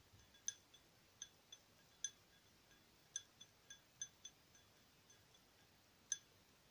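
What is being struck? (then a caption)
Small glass tealight holder tapped with fingernails. Long acrylic fingernails tap a small, hollow, empty purple patterned glass tealight candle holder held in one hand. Ten clear, bright clinks with very short ring ring out at uneven intervals, with a few fainter ticks between them, over a quiet background.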